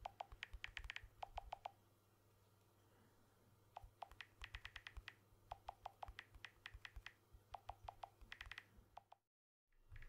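Fingertips tap the back and edge of a blue smartphone with a glass back and aluminium frame, held in one hand. Quick bursts of short, dry clicks with a mid-pitched tone and bright overtones come in clusters, separated by pauses over a faint hiss. The sound cuts out completely for a moment near the end before the hiss returns.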